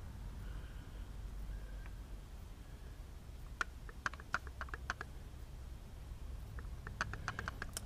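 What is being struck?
Flat brass plate held in a steel vise.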